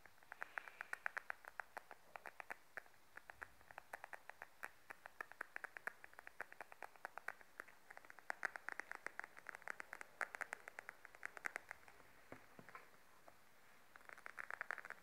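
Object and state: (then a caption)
Patent faux leather wallet. Long nails tap a beige glossy patent faux leather wallet, first held upright and then laid flat on a table. The result is a quiet, steady stream of short, crisp clicks with a bright tone centered around 1.5 kHz. The clicks stop almost instantly, and their pace varies throughout.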